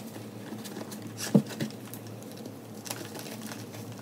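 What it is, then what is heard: Crumbled gym chalk powder. Fingertips and long nails dig into loose pink-white gym chalk (magnesium carbonate) powder with small lumps in a white plastic tub, crushing it and letting it fall. A soft, crunchy patter runs throughout over a steady low hum, with a sharper crunch standing out near the middle and a few fainter ones after.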